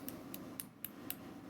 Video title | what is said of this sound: How does this happen? | This thing is plastic. You can tell it's plastic just by the sound of it.